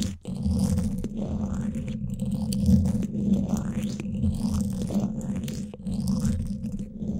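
Two thin wooden sticks scratch both sides of the woven steel mesh grille on a Blue Yeti microphone's hollow dome. The result is a dense, continuous, rumbling scratch, heavy in the lows with a steady hum-like tone near 220 Hz and faint rising sweeps above. Brief dips in level break up the texture.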